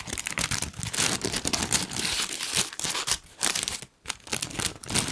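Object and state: Tissue paper sheet being crinkled.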